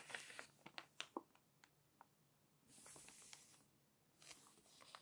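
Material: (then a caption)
Glossy paper. A long nail lifts the corner of a glossy magazine page with a series of quiet, sharp clicks and crinkles. The page turns with a bright, papery swish, then fingertips rub it flat with soft, hissing strokes.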